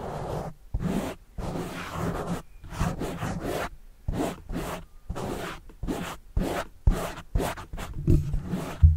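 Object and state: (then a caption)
Foam microphone windscreen being scratched. A fingertip scratches and rubs the soft, porous black foam windscreen mounted over a microphone. The result is irregular bursts of close, rumbling scratchy friction, heavy in low frequencies with little high content, separated by short silent pauses.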